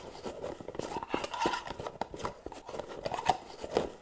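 Long nails tap and scratch the gold metal lid rim and body of a small round white cosmetic jar, held up and turned sideways. The result is a fast, busy stream of short, dry clicks and scrapes with a light midrange ring, each tap dying away almost instantly.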